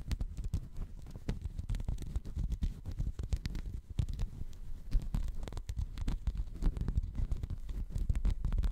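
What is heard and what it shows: Fingertips scratch and rub a checkered woven textile mat held close in front of the microphone. The result is a dense, continuous run of soft, low, muffled scraping and rustling with many short clicks, and no lasting ring.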